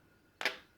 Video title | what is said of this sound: AV Apollo Vape style Mod Review | Little bit there, little bit of battery rattle there.